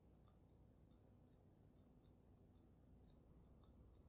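Fingernails tap quickly on the glass dome of a water-filled dragon snow globe from both sides. The taps are quiet, short, bright clicks with almost no ring, over a steady low background hum.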